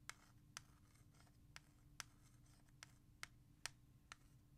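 Long nails tap fast on a hollow plastic CD jewel case of R.E.M.'s Out of Time held in the hand, tracing its letters between taps. Nine sharp, bright clicks stand apart over a soft scratching hiss and a low steady hum.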